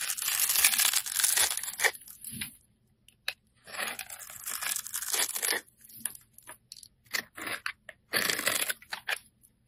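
A utility blade scrapes the scored surface of a hand-held, solid, translucent orange glycerin soap bar into small cubes. Bright, dry crackling and tearing bursts come in irregular strokes, some long and some short, with near-silent pauses between them.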